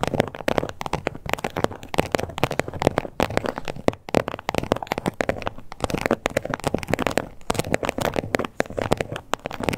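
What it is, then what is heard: Textured leather card holder. Long nails scratch and tap the embossed scales of a small hot pink croc-embossed leather card holder with stitched edges, close up. The result is a dense, steady stream of dry, crackly clicks and scrapes with no ring, mostly in the low mids.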